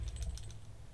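A glass jar of oil and rosemary with lodestones inside is shaken, and the stones click softly around in the liquid. Faint, short, bright ticks sit over a steady low hum that carries most of the sound.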